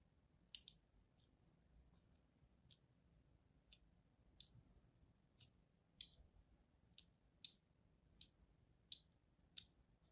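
A thin blade tip scores a crosshatch pattern into the surface of a palm-sized, solid green-and-white striped bar of soap. Thirteen short, bright, dry clicking scratches sound one after another, each dying away almost instantly over a faint low hiss.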